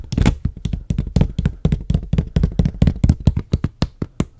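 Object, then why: Plastic water bottle. Fingertips and nails tap a medium clear plastic water bottle with a white label and cap, hollow inside, held close to the microphone. A rapid, uneven run of short, dull, bass-heavy taps follows, each with a crisp bright click at the onset and almost no ring.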